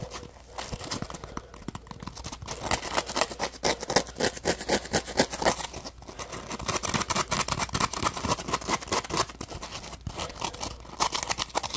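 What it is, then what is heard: Foam sponge. Fingertips and nails scratch and rub the ridged surface of a palm-sized, solid, yellow textured polymer foam Scrub Daddy sponge held close. The result is a steady run of dense, rapid, crackly scratches with a bright, papery edge and a low steady hum underneath, swelling and easing in loudness as the rubbing continues.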